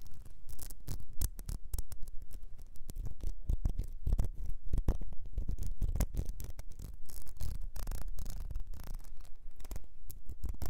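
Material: Glass.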